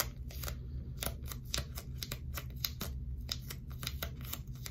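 Long stiletto nails repeatedly tap and scratch a small piece of dark blue sticky tape, apparently folded or stuck into a flat strip and held upright in one hand in front of a binaural mic. Quick, sharp, bright clicks and scratchy crackles sound over a steady low background hum.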